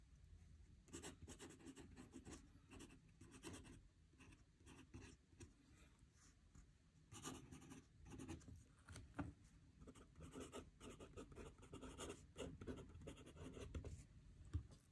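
A metal fountain pen nib scratches across a squared paper notebook page lying flat on a desk as a hand writes. Quiet, dry scratching strokes come in short bursts with brief pauses between words, over a soft low rumble with faint bright edges on the firmer strokes.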